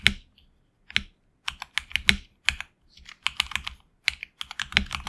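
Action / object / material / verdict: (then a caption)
tap / mechanical keyboard with plastic keycaps / plastic / none. A HyperX Alloy Origins Core tenkeyless mechanical keyboard with HX Red switches and grey and red PBT keycaps, resting on a deskmat, is typed on with the fingertips of both hands. Bright, short clacky keystrokes come in quick irregular bursts separated by brief pauses. Each keystroke is crisp and dies away almost instantly, with little low end.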